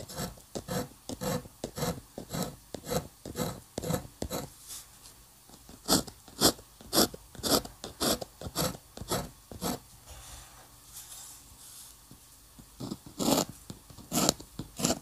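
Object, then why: Paper sheet under a metal pen nib. A metal dip pen nib scratches lines and hatching in ink across a flat sheet of white paper. Around twenty short, bright, raspy strokes come in a quick, uneven rhythm. The strokes pause briefly in the latter half before a few louder strokes resume.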